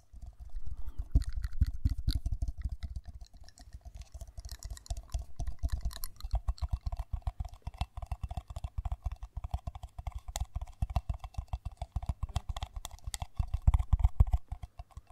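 Long white nails tap rapidly and steadily, close to the microphone, on a hollow, empty pale pink matte ceramic mug with a handle and printed lettering. The taps are quick, dry ticks with a deep thump under each one and a faint mid-pitched ring that dies away almost at once. They come in dense bursts that swell and ease over the whole clip.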